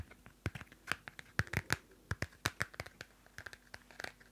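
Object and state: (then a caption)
Paper notebook cover being scratched. Long nails scratch the cardstock cover of a small pocket Field Notes paper notebook held close to the mic. About twenty short, dry, irregular scratches with a faint low thump under a bright papery rasp, each dying away almost instantly.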